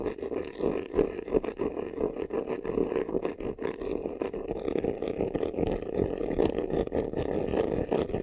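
Short nails scratch fast across the textured front of a hollow black crocodile-embossed faux leather vanity case. The result is a dense, continuous rasping scratch with a hollow midrange tone near 400 Hz and little deep bass or high hiss.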